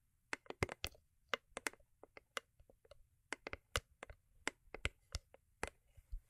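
Long acrylic nails tap and scratch the sides of a small, hollow, cube-shaped rigid cardboard gift box covered in holographic foil paper, resting on faux fur. About eighteen quick, dry, bright clicks land in an uneven rhythm, each dying away almost instantly. A faint low hum sits underneath.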